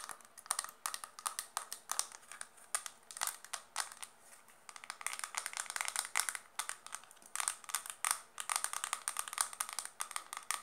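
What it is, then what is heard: Plastic makeup compact. A small, round, dark blue hollow plastic makeup compact, closed, is tapped fast with long dark nails. Rapid, bright, clicky taps come in dense bursts with short pauses between them, each tap dying away almost at once. The sound is thin and high, with almost no low end.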